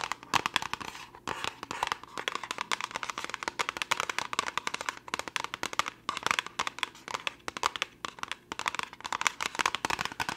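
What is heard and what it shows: Long nails tap fast and hard on a small, hollow orange cardboard test-kit box. The taps come as a rapid, irregular stream of dry, bright clicks with almost no low end and no ring after each hit.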